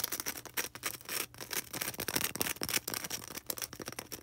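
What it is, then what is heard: Styrofoam ball. Long red acrylic nails rapidly scratch a small solid white polystyrene foam ball up close. It makes a dense run of bright, dry, squeaky scratching bursts with little low end, each stopping almost at once.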